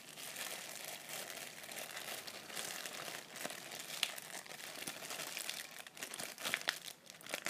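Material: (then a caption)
Plastic. A clear thin plastic bag with a white item inside is held close in both hands while fingers squeeze, crumple and crinkle the plastic. The result is a steady, bright crackling texture with sharp crisp snaps scattered throughout, heaviest in the high frequencies and almost nothing in the low end.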